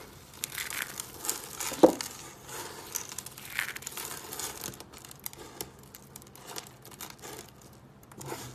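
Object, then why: Dry soap curl pieces. Crushed pieces of colored dry soap curls are rubbed and pressed by fingers on a wooden table. A steady stream of dry, bright crinkling and crunching crackles runs throughout, with a sharp louder snap near the two-second mark. The sound has little low end.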